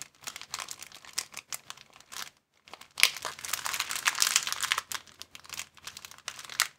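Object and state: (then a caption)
Thin plastic bag being crumpled. An empty, thin clear plastic bag is crumpled and flattened by both hands. Bright, crisp crinkling comes in short bursts, with a brief silence near the middle. It then turns into a denser, louder stretch of continuous crackling before breaking back into scattered crinkles.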